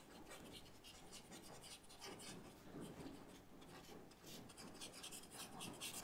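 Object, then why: Paper sketchbook page rubbed with a paper blending stump. A paper blending stump is rubbed repeatedly over a charcoal-shaded leaf in a white paper sketchbook, smudging the charcoal. Soft, continuous scratchy rubbing strokes come in bursts with bright, hissy texture and a low papery rustle underneath, at a quiet level throughout.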